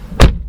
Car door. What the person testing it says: there it's just solid